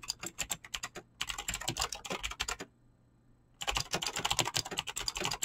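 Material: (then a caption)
Plastic. Fingertips fast-type on a mechanical keyboard with clicky green switches and PBT plastic keycaps, producing rapid, bright, crisp clicks that decay almost instantly. Bursts of typing are broken by two short pauses, near 1 second and between about 2.7 and 3.6 seconds, then the fast clicking resumes.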